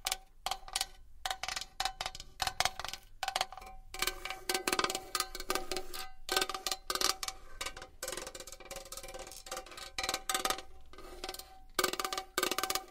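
A metal box is tapped and scratched with long nails, making rapid bright clicks and brief scrapes over a faint tonal ring. The taps come in dense, uneven bursts with short pauses, each ringing only briefly.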